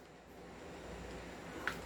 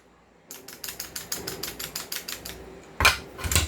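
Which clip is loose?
The second.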